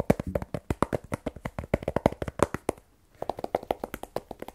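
A small black rigid cardboard iPhone 12 Pro box, hollow with the phone still inside, is tapped quickly with fingertips and fingernails. About thirty short, dry, hollow taps with a low-mid body and almost no ring come in steady bursts, broken by a brief silence near the three-second mark before the tapping resumes.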